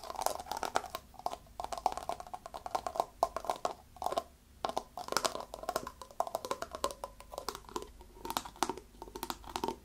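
Fingernails tap and scratch the shoulder and body of a brown plastic bottle with a yellow-orange label, partly filled with liquid and held in both hands. Rapid, dense clicking taps mix with crinkly scratching, giving a hollow plastic tone around 750 Hz with bright crackle above. Each tap dies away almost instantly.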